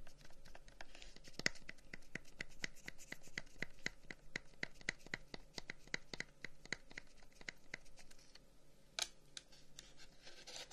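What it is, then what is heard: Wooden incense box. A long, hollow wooden incense box with carved flower-pattern holes is held in one hand and tapped and scratched with the fingertips of the other. A steady run of quick, dry taps each carries a short hollow ring near 2 kHz. Bursts of bright, rough scratching rise near the end.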